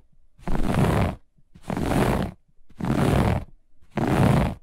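One hand with long nails scratches fast and aggressively across a grey-beige looped pile carpet. Four separate bursts of rough, rumbling scratching are heard, with most of the energy low and a thin, faint hiss on top, separated by short near-silent pauses.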